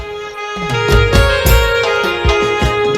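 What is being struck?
Nothing is struck.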